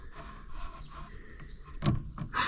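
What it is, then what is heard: Worn, noisy pulley bearing. A belt pulley on a Cub Cadet mower is spun by hand, giving a low, dry rubbing and grinding noise with two louder scraping bursts near the end. The noise is a sign of a worn pulley bearing.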